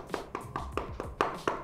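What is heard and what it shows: Seven quick, even taps on the plastic housing of a pair of EarFun Wave Pro headphones, each a short, dry knock with a mid-pitched tone near 1.2 kHz that dies away in about a tenth of a second. Every tap sounds the same, with no rattle or hollow buzz, and the housing is judged solidly built.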